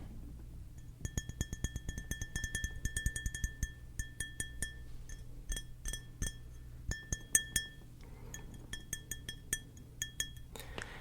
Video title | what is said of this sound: ASMR Tapping the Tingliest of Objects | just so you hear the difference, that's just my skin, and this is the nail